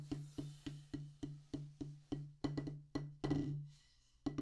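A solid black rubber drum practice pad on a wooden base is tapped 14 times with two wooden drumsticks. Each tap is a dull, woody knock with a low thud and a short ring. The taps come at a steady pace, quicken into a few closer strikes near the end, then fall silent briefly before a final tap.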